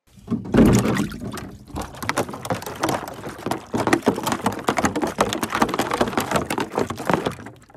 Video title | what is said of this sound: Does Ice Pack Temperature Matter? Testing Freeze Temps 5°-32°F, Which Last Longer? | as you can hear as I'm shaking it uh the angle 32° still had ice